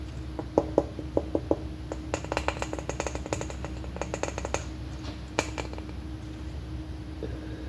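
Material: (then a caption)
Plastic. Long painted nails tap and scratch on a large, hollow, red plastic M&M-shaped candy container held close. Quick, light, hollow clicks come in bursts over a steady low hum, with a ringing tone around 560 Hz behind the early taps. A brief bright tap stands out near the end before the clip settles into quieter scratching.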